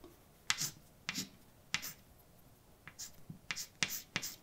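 A hand writes letters with white chalk on a large, dark, flat, solid chalkboard. Sharp taps are each followed by a short, bright, scratchy scrape, spaced irregularly and growing quicker toward the end. The strokes are quiet, crisp and high-pitched, with almost no low end and no ring between them.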